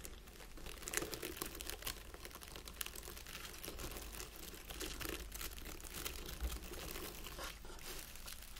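Fingertips and nails scratch and rub through the needles of a small round wreath of artificial plastic pine lying on a table, with a candle standing behind it untouched. The result is a quiet, steady stream of bright, crinkly rustling and scratching made of many short overlapping crackles over a faint low hum.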